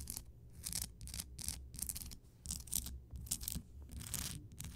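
Fingertips and long nails scratch and tap around the base and sides of a large, solid, lit Himalayan rock salt crystal lamp. Short bursts of bright, dry, rasping scratches come and go over a steady low rumble, each stopping quickly with little ring.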